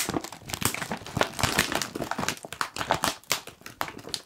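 A medium-size Kettle crisps bag of foil-lined plastic, puffed and apparently full, is gripped and crinkled by the fingers of both hands. Dense, crackly crinkling comes in rapid bursts of sharp, bright rustle with very little low end, each crackle dying away almost instantly.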